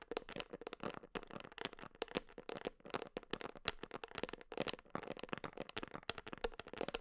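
Long nails rapidly tap and scratch the white screw lid and side of a medium red plastic creatine supplement tub, held in one hand and apparently filled with powder. Dozens of dry, irregular clicks and crinkly scrapes follow one another, bright and short with no ring, over a faint hiss.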